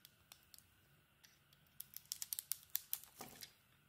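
A solid, hand-sized bar of white soap with a red-bronze coated surface is held in one hand and shaved with a small metal blade in scraping, scratching cuts. About fifteen short, crisp scrapes are heard, faint and spaced out at first, then louder and closer together in the second half. The sound is bright and high, with almost no low end and no ring after each cut.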